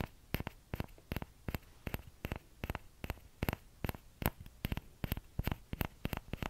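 Fingertips tap the hollow bowl of a small orange plastic ladle held just above the mic, making a steady run of quick, dull, hollow knocks. Each tap is low and thumpy, centered near 100 Hz, with a light bright click on top and no ring after it.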